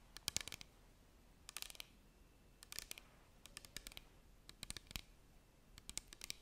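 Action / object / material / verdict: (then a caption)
tap / small clear plastic bottle with cap, partly filled / plastic / none. A small clear plastic bottle with a cap, partly filled with liquid, is held in both hands and tapped with long nails close to a microphone. Quick, bright, clicky taps come in quiet bursts with pauses between them. Each tap dies away almost instantly.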